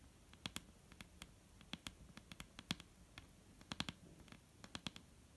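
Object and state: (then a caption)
Wooden table tapped with fingertips. Fingertips tap on a wooden table, making a series of short, dry, clicky knocks. The taps come in quick, irregular clusters with a bright click on top of a low thud, and each knock dies away almost instantly against a quiet background.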